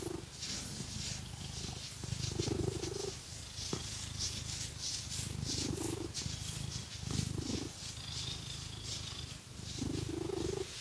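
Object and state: Nothing is struck.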